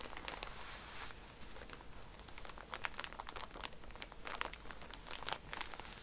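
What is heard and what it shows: A plastic-wrapped pack of cotton pads, first lying flat and then held up, is scratched and pressed by fingertips and nails on its plastic wrapper. The result is quiet, bright crinkling with a steady run of short, sharp scratchy ticks that stop instantly.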